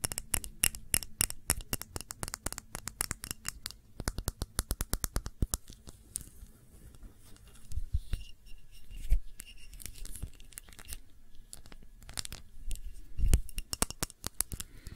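A clear glass tumbler holding a red wax candle is turned in the hands while fingernails tap and scratch the glass. Rapid, dry, bright clicking taps fill the first six seconds, then give way to quieter scratching with a few louder knocks. Each tap dies away almost at once, with little ring.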